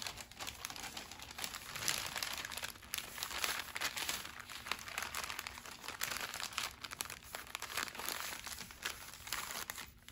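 Fingertips fold a thin, hollow, flat brown kraft paper gift bag, apparently holding a bookmark, and press the folds down flat on a wooden table. Steady, bright crinkling and crumpling of paper continues throughout, with quick rustling bursts and little low end.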